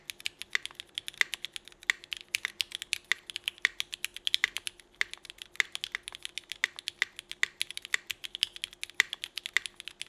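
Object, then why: Mechanical keyboard with ABS plastic keycaps. A 65% mechanical keyboard with Cherry Vintage Black switches, red and black GMK Burgundy ABS plastic keycaps and an aluminum plate is typed on steadily by both hands using fingertips. About 79 quick, dry keystrokes clack out in a fast, uneven rhythm, each a short bright click centered near 2 kHz with almost no ring and no low-end thump.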